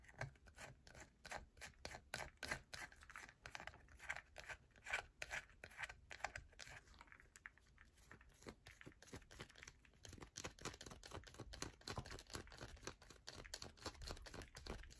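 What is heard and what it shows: A solid yellow bar of soap gripped in a hand is scratched hard by long nails, with flakes dropping onto a mat. A dense run of quick, crisp scratching and tapping bursts with a dry, bright texture and almost no ring, speeding up toward the end.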